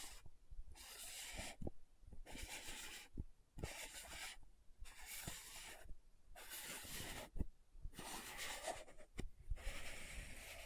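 Long nails scratch and rub the glossy dark purple lid of a small round plastic loose powder jar, making bursts of bright, hissing scrapes. The bursts alternate with short quieter pauses, and sharp low clicks mark the changes.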